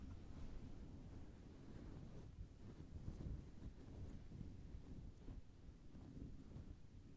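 Long red-painted nails scratch and rub a fluffy grey-white synthetic fur windscreen on a black Blue Yeti USB microphone, directly over the capsule. The result is a steady, muffled, low rumbling rustle, almost all of it deep bass with very little high end, similar to wind buffeting a microphone.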